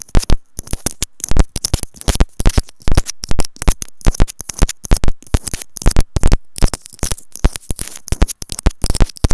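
A small, hollow white plastic inline remote and mic on a white earphone cable is held in the fingers and tapped and scratched with long manicured nails. Many rapid, sharp taps and scratches follow in quick bursts, with close, deep thumps and brief crackly scraping between them.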